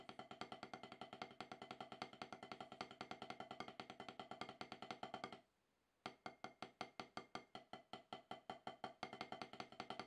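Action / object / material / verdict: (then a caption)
tap / rubber drum practice pad struck with wooden sticks / rubber / none. Wooden drumsticks tap a steady stream of quick strokes on a solid, octagonal HQ snare practice pad with a dark rubber surface. Each stroke is a short, dry, woody knock centered around 750 Hz, with about 77 distinct hits and a brief silence near the middle before the rhythm resumes.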